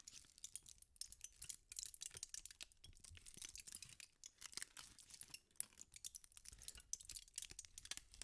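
A thin sheet of aluminum foil is crumpled and twisted by fingertips with pink nails. It makes a steady run of soft, bright crinkles and sharp crackles, with short louder snaps throughout.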